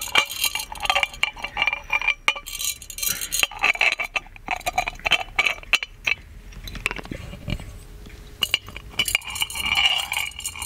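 An ornate, hollow gold metal genie lamp is tapped on its lid and body with fingertips and nails, then turned to show its base. The taps give quick, bright metallic clinks with a short ring, arriving in rapid irregular bursts separated by quieter stretches of handling.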